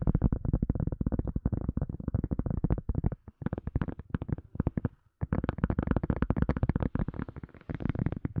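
A silicone cup lid is tapped in quick, uneven runs of short, dull, low thuds with almost no ring. A brief pause comes just after three seconds and a clear gap near five seconds, then the rapid tapping resumes.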